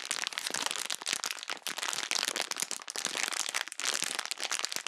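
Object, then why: Plastic bag of foam bead slime. A small clear plastic bag packed with green foam bead slime is held in both hands close to the microphone and squeezed and crinkled by long-nailed fingertips. The result is a dense, continuous stream of bright crackling, popping and crinkling with no low end.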